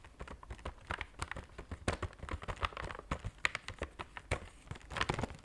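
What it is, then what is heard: Cardboard chocolate box. A flat, square, white printed cardboard box of Belgian chocolates is tapped rapidly with fingernails on its front face. The result is a quick, uneven run of dry, clicky taps with very short decay, bright at the top with some low thump underneath.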